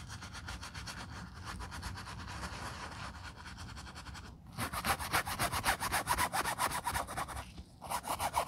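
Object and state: Leather ballet flat being brushed.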